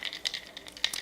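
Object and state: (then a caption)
Dried cocoa pod with loose beans. A dried cocoa pod about the size of a small toy football is shaken, and the loose cocoa beans inside make a quick series of dry, high-pitched rattling clicks with no ring. The rattle shows that the pod is dry and the beans are loose inside.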